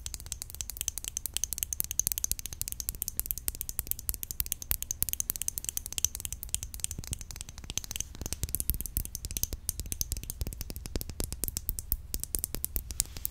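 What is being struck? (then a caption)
Glass nail polish bottle. Fingernails tap quickly and steadily on a nail polish bottle, producing a dense stream of short, bright clicks with a sharp high edge. The clicks stop instantly with no ring, over a soft low rumble that lasts the whole clip.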